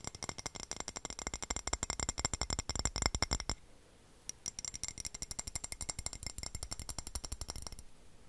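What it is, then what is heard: Floor tile. A floor tile is tapped in a fast, uneven flurry of sharp, bright clicks with a low thud under each one. The tapping stops briefly just past the midpoint, then resumes and softens toward the end.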